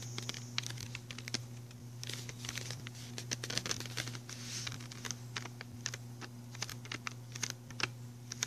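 Fingertips and short nails tap and drum on the front of a small, flat, printed cardboard box from a General's MultiPastel pencil set, held in one hand and hollow with pencils inside. Dozens of quick, dry, bright clicks and patters come in irregular bursts, each dying away almost instantly, over a steady low hum.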